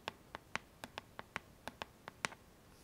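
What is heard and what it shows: Long nails tap and scratch the hollow plastic back of a pink paddle hairbrush lying face down. Eleven short, sharp clicks ring out with bright, quick-decaying tones over a quiet background.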